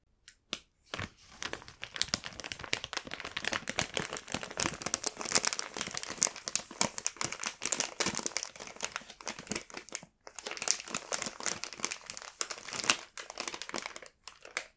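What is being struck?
Printed plastic bread bag holding bread rolls.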